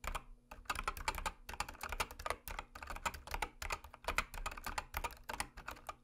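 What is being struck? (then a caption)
Mechanical keyboard with plastic keycaps. Long manicured nails and fingertips type and tap rapidly on a full-size backlit mechanical keyboard with white, orange and dark plastic keycaps and a red "DO NOT PRESS" key. Quick bursts of crisp, bright plastic clacks run in uneven clusters with brief pauses. Each keystroke stops short with almost no ring and a soft low thump underneath.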